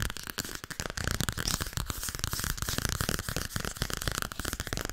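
Long red nails tap fast on a solid softcover book, 'Overdracht en tegenoverdracht', with a paper cover. The result is a dense run of quick, dry taps: papery low thumps mixed with bright clicky tops, each dying away almost instantly.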